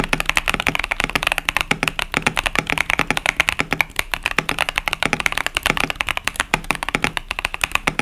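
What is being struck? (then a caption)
Plastic mechanical keyboard with tactile switches. A KBD67 Lite 65% plastic mechanical keyboard with Boba U4T tactile switches is typed on steadily with the fingertips of both hands. About 54 crisp, dry keystrokes land in a fast, even rhythm, each a sharp tap centered around 2.3 kHz with a bright top and almost no ring. A little low-end thock sits beneath the clacks.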